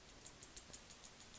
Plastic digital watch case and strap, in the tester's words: the poor tolerance just gives that slight vibration when you tap it